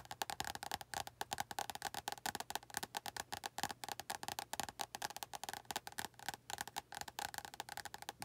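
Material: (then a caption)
Paper, card. Long nails tap rapidly on the glossy card front cover of an orange and yellow paperback, "100 Words Every Middle Schooler Should Know," held upright so it forms a solid paper block. The taps are quick, dry, bright clicks with a hollow, wood-block-like tone around 820 Hz. Each one stops almost instantly, and they form a steady, dense patter of dozens of taps.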